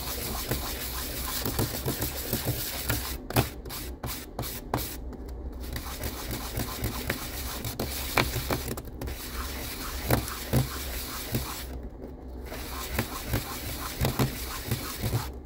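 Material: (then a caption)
Resin. A small solid resin six-sided die, about 1.5 cm and orange-gold with glitter, is held in the fingertips and rubbed in circles across wet dark sandpaper coated in milky slurry. A steady, gritty scratching fills the clip, with faint sharp ticks and a low background hum, and the bright hiss briefly drops out a few times between strokes.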